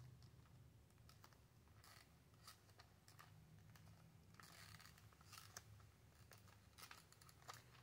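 A small flat L.A. Colors Nail Frill retail pack of press-on nails, with a cardboard backing and a clear plastic blister holding the nail tips, is held up and tapped and scratched with long acrylic nails. Quiet, quick, dry clicks and bright scratchy rustles come in irregular bursts over a low steady hum.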